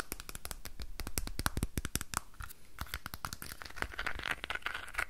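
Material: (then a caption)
Wood. Fingernails and fingertips rapidly tap and scratch a small, hollow, red painted wooden box with a decorated lid. The quick, dry taps have a low, hollow thump and bright clicky edges that stop almost at once. Scratchy rustling fills the gaps between them.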